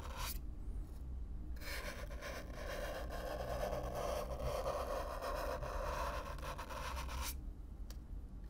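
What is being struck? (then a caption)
Corrugated cardboard box. A stiff black-bristle brush is rubbed across the surface of a hollow brown corrugated cardboard box, heard close up. A short scratchy stroke is followed by sustained rough brushing with a dry, raspy texture and a steady low hollow rumble underneath, before it cuts off near the end.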